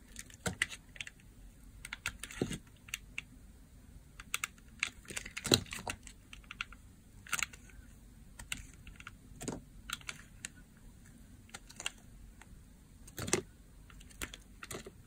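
A hand-held blue striped solid bar of dry soap has thin curls shaved off it with a utility blade. Short, dry, bright scraping and crackling clicks come in irregular bursts, with a few louder cuts standing out over a quiet low background hum.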